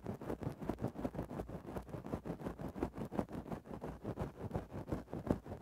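A thin wooden stick makes rapid small scratches into a grey faux-fur microphone windscreen. The result is a quiet, steady run of soft, muffled scratching bursts, several per second. The sound sits in the low and mid range, with almost no bright top end.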